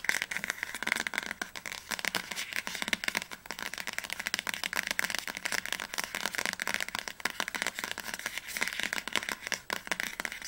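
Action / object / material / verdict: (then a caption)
tap / hardcover book spine / book board / none. An upright orange hardcover book has its spine tapped fast with long nails. The result is a dense, steady stream of crisp, bright clicks with almost no low end, each tap dying away almost instantly.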